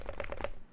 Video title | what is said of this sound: Yakan Barung (Unboxing, Testing, and Review) | if I shake it, there's just a little bit of rattling, but you know, that's to be expected